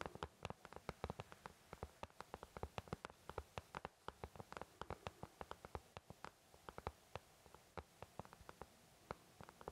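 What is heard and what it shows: An empty white plastic paint palette, thin and hollow-backed, is tapped with the fingertips of both hands. About fifty quick, dry taps come in an uneven, fluttering rhythm, each with a soft hollow thud and a brief bright click that dies away almost instantly. A faint steady low hum sits underneath.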